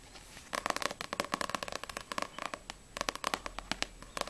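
Long nails rapidly tap the glossy paper back cover of a small, solid paperback manga, No.6 volume 2; the book is then turned over and the front cover is tapped. The taps are quick, dry clicks with a hollow midrange tone near 1.1 kHz and a bright edge. Each one dies away almost instantly over a faint steady hiss.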